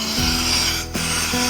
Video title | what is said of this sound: CARA MEMILIH SEAL KOMPOR GAS YG BAGUS -- ANTI NGESESSS !!! | Begitu digoyang-goyang begini ada kebocoran.